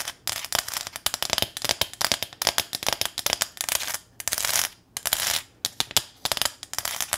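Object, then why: Small corrugated metal sign. Long nails tap fast and scratch across a small, flat corrugated metal welcome sign decorated with a ribbon bow. Bright, crisp clicks come in a rapid, uneven stream, broken by two longer rasping scrapes partway through. The sound is thin and high, with almost no low end and no ringing after each tap.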